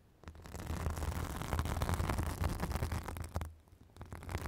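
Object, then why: Synthetic fibrous bath sponge. Long acrylic nails scratch a white fibrous synthetic bath sponge held on a microphone, making dense, irregular scratchy rustling with a heavy low rumble beneath. The scratching builds within the first second, holds steady, dips briefly near the end, then picks up again.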